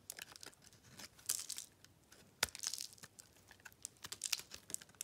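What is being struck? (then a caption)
Bar of soap scraped with a metal blade. A metal blade carves and scrapes crunchy, layered flakes off a solid, dry cream bar soap. The result is a quick run of crisp, bright crackles and scratches, close and clear with almost no low end. Each crunch cuts off sharply.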